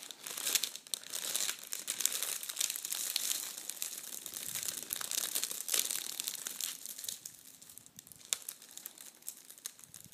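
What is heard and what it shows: A sheet of red metallic foil tissue paper is scratched and pinched by fingertips and nails, giving a steady, dense crinkling and crackling. The sound is thin and bright with almost no low end, made of rapid sharp crackles with occasional louder snaps. It grows somewhat quieter and sparser toward the end.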